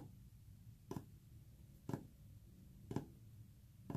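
Short fingernails tap a solid, flat white painted wood panel with visible brush texture four times, about once per second. Each tap is a brief, dull knock that dies away almost at once, over a quiet low background rumble.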